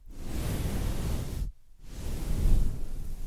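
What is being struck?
Nothing is struck.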